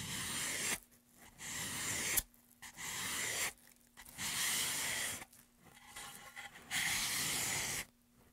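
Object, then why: Wooden pen tray. A gloved hand scrapes a small tool along the carved hollow of a solid, light wooden pen tray held upright. Five bright, hissy scraping passes are heard, each lasting under a second, separated by short quiet gaps with faint rustling.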